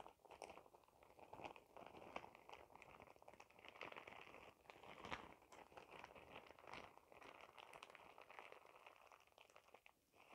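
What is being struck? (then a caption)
Thin plastic shower cap. A clear, glittery plastic shower cap is bunched up in both hands and crinkled with fingertips and nails in front of the face. The result is a steady run of dense, crisp crackling and crunching with many quick snaps, mostly in the mids and upper mids with bright edges and very little low end. The level swells and dips throughout.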